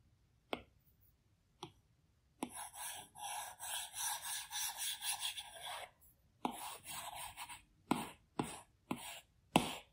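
A plastic Apple Pencil tip taps and strokes across the large flat glass screen of an iPad Pro while drawing. Eight sharp taps stand out, with bursts of bright, raspy rubbing strokes between them, the longest running from about 2.5 to 6 seconds.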